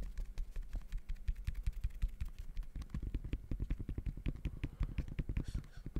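Fingertips tap rapidly on the woven synthetic mesh upper of a hollow, empty gray high-top sneaker in the Jordan Horizon style, held in front of the mic. The result is a fast, uneven stream of short, dull, low thuds with soft clicky edges over a steady low hum, growing heavier and denser in the second half.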